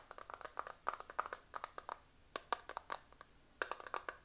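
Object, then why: Plastic eyeshadow compact. A small, flat, clear plastic eyeshadow compact, a hollow case with makeup pans inside, is held in both hands close up and tapped and scratched with fingernails. The result is a quick run of about 27 light, dry clicks and taps with very short ring and a faint hollow ping near 1.2 kHz. There is almost no low end.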